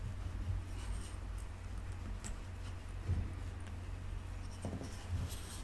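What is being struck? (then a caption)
Kinetic sand block scraped with a wooden skewer. A wooden skewer is rolled and rubbed along the top of a solid rectangular block of pink kinetic sand under the fingertips, then drawn across the surface. The result is a soft, steady gritty rubbing over a dominant low rumble, with faint bright scratchy streaks and a few slightly louder swells.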